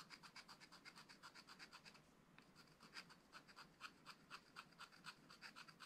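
A wooden stylus scratches tree shapes into the black coating of a flat, spiral-bound scratch-art pad. Quick, bright scratching strokes repeat about four times a second, with a brief quieter stretch just after two seconds. The scratches are quiet, short and dry.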